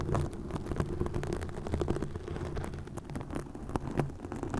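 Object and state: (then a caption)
Plastic mesh netting scratched over a microphone. Long nails scratch green plastic mesh netting stretched over a microphone. The sound is a steady, close crackle of rasping scrapes and quick clicks, heavy in the low end, with brief sharper snaps rising out of the dense texture.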